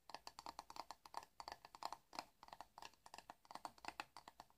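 Fingertips run and scratch across the dense bristles of a hand-sized black plastic paddle hairbrush held in the hands. This gives a rapid, irregular string of short, dry clicking scratches, centred around 830 Hz with bright, crisp upper edges. Each one stops almost instantly, with little ring.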